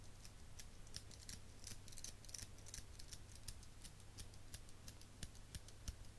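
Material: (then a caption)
Metal. A small chrome metal eyelash curler is held in the hand and squeezed repeatedly with the fingers. It gives a quick run of sharp, bright metallic clicks at an uneven pace over a steady low hum.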